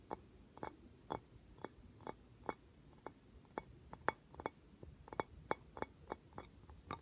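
Tapping on the case that a screen protector came in, about twenty short, dry clicks and taps at an uneven pace. Each tap is bright and brief, centered in the upper midrange, with almost no ring.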